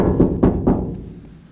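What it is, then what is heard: Bare steel truck cab panel, resonant (no sound deadening). Three knocks on a bare steel panel toward the back of a 1967 Ford F100 cab, an area without sound deadening mat. Each knock gives a low, hollow thunk with a brief tinny ring, noticeably more resonant than the treated floor.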